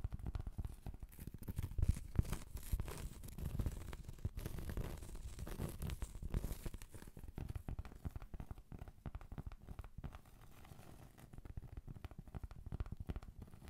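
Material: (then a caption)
Cork. A thin, solid, round cork trivet is held close and scratched and tapped with long pointed acrylic nails. The result is a dense, continuous stream of soft, dry scratching and light tapping, mostly low in tone and without any ringing.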